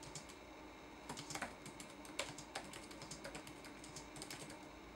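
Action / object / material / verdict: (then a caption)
tap / plastic laptop keyboard keys / plastic / none. Fingertips type quickly on a red-backlit laptop keyboard with plastic keycaps, producing a dense run of quiet, bright clicking taps. A few keystrokes stand out louder against a steady low background hum.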